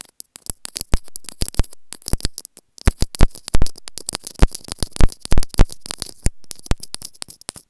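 Long painted nails scratch and rub along a small, white, hollow plastic inline microphone on an earphone cable, and along the cable itself. The result is a dense, irregular run of close, dry scratches and sharp plastic clicks, each with a bright hiss. The bursts are separated by brief silences and fade almost instantly.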